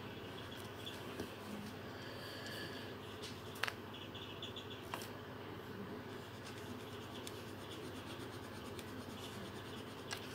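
A green felt-tip marker held in the fingertips makes repeated short colouring strokes across a thin paper colouring sheet resting on a table. A soft, steady scratchy hiss runs throughout, with brighter papery swishes and a few sharper ticks where the tip catches the paper. The result is a quiet, even colouring sound.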